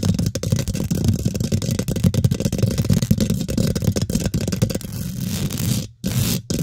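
Long pink glitter nails scratch fast across the hollow, rounded steel wire-mesh head of a condenser microphone, using the fingertips. The result is a dense, continuous rasping rumble, heavy in the low end, with rapid scraping flutter. Near the end it cuts out briefly twice before resuming.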